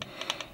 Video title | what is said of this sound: XRAY Tech Tips - Setting Gear Mesh on XB8 | that little knock there you hear that knock